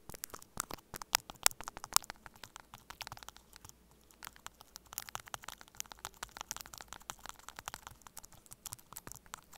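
Two metal spoon-tipped tools held by the fingertips tap and scratch the cable joints at both ends of a small, hollow white plastic earphone inline microphone remote taped to a table. The result is a dense, irregular stream of sharp, bright clicks and crackly scrapes with very little low end, pausing briefly near the middle before continuing.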